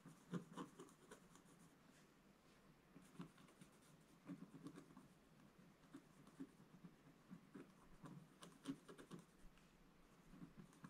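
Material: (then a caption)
Coated paper. A wooden scratch stylus scratches fine lines into the black coating near the bottom of a solid scratch-art page in a book lying flat on a table. The result is quiet, dry scraping with short, sharp ticks and strokes scattered through the clip over a soft, steady hiss.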